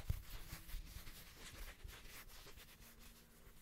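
Fingertips and nails rub and scratch the surface of a small, thin, solid square woven rug-style coaster with a red patterned fabric face, held in the hands. The result is a quiet, soft, continuous scratchy rustle with faint bright scratching textures over a low handling rumble, gradually fading with no distinct separate hits.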